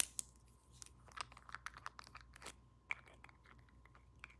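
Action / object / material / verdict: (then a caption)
tap / small glass roll-on perfume bottle with metal cap / glass / none. Long nails tap quickly on a small pink-labelled glass roll-on perfume bottle and its shiny metal cap. The result is a rapid, irregular run of light, bright clicks and ticks that stop instantly, with a faint steady tone underneath.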